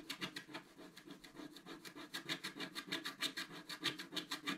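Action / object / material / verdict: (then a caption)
scrape / black-coated scratch art paper card scraped with a wooden stylus / coated paper / none. A wooden stylus scratches the black coating away in the upper area of a flat scratch art card, about A4 size, lying on a table. It makes a quick, steady series of short, dry scraping strokes with a bright, hissy texture and little low end, each stroke dying away almost at once.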